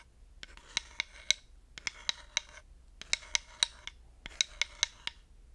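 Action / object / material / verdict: scrape / wooden slotted hot pad scraped and tapped with a wooden stick / wood / none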